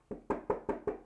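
A wooden desk is knocked for luck with five quick knocks. Each knock is a short, dull, mid-pitched thud that dies away almost at once.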